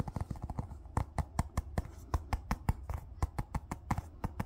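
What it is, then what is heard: Small hollow plastic ball. A small hollow yellow plastic ball with a seam line is held in the hand and tapped and rubbed with fingertips and nails. A quick, uneven series of short, dry, hollow taps is heard, each with almost no ring and most of its energy low, over a soft continuous rubbing texture.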